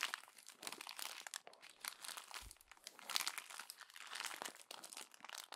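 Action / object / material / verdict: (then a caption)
scrape / glossy paper magazine pages / paper / none. A hand grabs the pages of a glossy paper magazine and crumples them into a bundle, making continuous dense crinkling and crunching. The sound is bright and papery, with quick overlapping crackles rising and falling in bursts and almost no low end.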